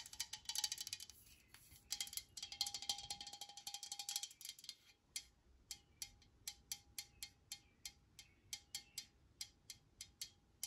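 Long nails tap the body of a blue Complete Home disinfecting spray can, a pressurized steel or aluminum aerosol can held in one hand. Fast, dense bursts of bright, thin metallic clicks come first, then settle into a steady series of separate, evenly spaced taps. Each tap dies away almost instantly with only a faint ring.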